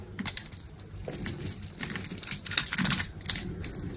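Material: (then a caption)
Soap. A steel utility blade scrapes small cubes off the grid-scored surface of a solid green soap bar with a red coating. The result is a run of dry, bright, crisp crackles and quick ticks over a soft low rustle, with sharper snaps standing out.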